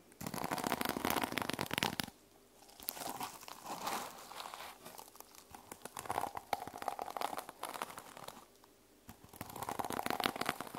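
Fingertips and nails rub and scratch the teal sequin cover of a small fabric journal resting on a table. Dense, bright crinkling and scratchy rasps come in bursts, with brief quieter pauses between the passes.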